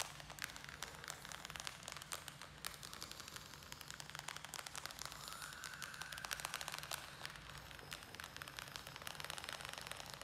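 A small square black plastic nursery pot, filled with soil and a string-of-pearls plant, is held in the hands and rapidly tapped and scratched with the nails. The result is a quiet, dense stream of bright, crackly clicks and scratchy rustles with a steady low hum underneath and a faint tone rising briefly around the middle.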